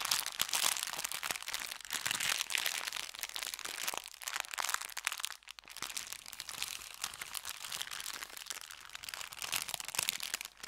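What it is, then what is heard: Brown paper bag. An empty, folded brown kraft paper bakery bag is held in the hands and crinkled and squeezed with the fingers. The result is a continuous run of dense, bright crinkling and sharp crackles with almost no low end, briefly dipping quieter around the middle before carrying on.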